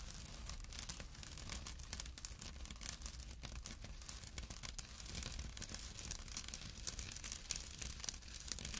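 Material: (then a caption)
Jute. Short nails scratch the coarse weave of a small, empty jute burlap drawstring pouch resting on a dark cloth. The result is a steady, quiet, dense rasping and scratchy crackle, bright and fibrous on top with a low rumble underneath, continuing throughout the clip.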